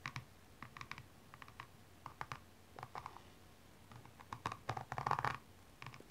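A slim metallic tool scratches the rhinestone upper near the arch and heel of a single blue rhinestone-covered stiletto standing upright. Quiet, brief scratchy clicks come in scattered bursts, centered around 1 kHz with some bright edges. The scratching grows denser and louder toward the end.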